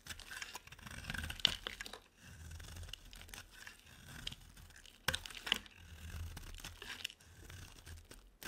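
A utility-knife blade scrapes and carves curls off the corner of a rectangular, solid, white bar of dry soap held in the hand. Dry, crunchy scraping and crinkling strokes come in irregular bursts, bright and papery, with a few sharper snaps of the blade. Quiet gaps fall between the strokes.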